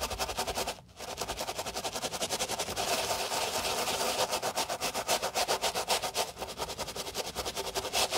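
A white Dior sneaker with a mesh and leather upper rests on a towel while black-gloved hands scrub it with foam using a wooden brush with stiff bristles. The result is a rapid, steady run of bright, hissing brush strokes that pauses briefly near the start and then continues at a quick, rhythmic pace.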